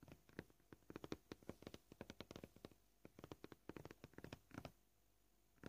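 Short purple-polished fingernails gently tap a flat, solid white plastic cutting board marked with knife cuts. The result is a quick run of soft, dry, clicky taps at an uneven, shifting pace, with brief clusters and short gaps. It ends with a quiet pause and one last tap.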